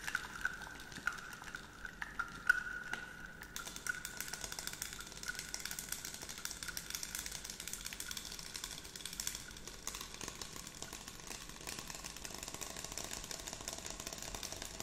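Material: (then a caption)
Plastic. Long nails tap and scratch the sides of a clear 100 ml scented water bottle with a pump cap, filled with pink liquid and apparently plastic, held close to the microphone. A dense stream of rapid, crisp clicks and scrapes runs throughout. A steady tone near 1.5 kHz sounds for the first few seconds, then fades as a bright, hissy scratching texture takes over.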